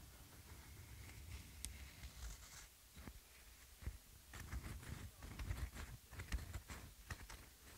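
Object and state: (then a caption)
Rubber flip-flop. A white foam rubber flip-flop sandal with a lemon print is rubbed and scratched on its sole and strap with fingertips and nails. Quiet, irregular scratching and soft brushing come with short, dull taps, heavy in low rumble and with faint bright scratchy edges.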